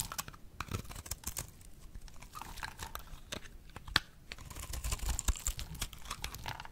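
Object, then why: Bar of soap cut with a blade. A solid, oval, dry pink bar of soap is held in the hand and shaved into brittle flakes with a box-cutter blade. Rapid, dry, crisp scrapes and crunchy clicks follow one another in bright, short bursts with almost no ring, over a faint low rumble. The brittle flakes crackle off the bar, growing a little denser and louder toward the end.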